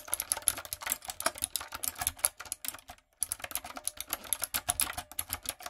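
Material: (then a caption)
Plastic. A backlit, typewriter-style mechanical keyboard with round retro plastic keycaps and a hollow plastic body is typed on with long coffin nails and fingertips. It makes a fast, steady run of sharp, bright, clacky keystrokes with dry, short-lived clicks and taps. The typing stops briefly around the three-second mark, then picks up again.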